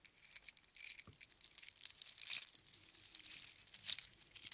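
A strand of small hollow seashells on a string is dropped into an open palm, gathered, and shaken with the fingertips so the shells rattle against each other. The result is quiet, irregular, bright clicking and crinkly rattling with almost no low end, and louder bursts of clatter around the middle and near the end.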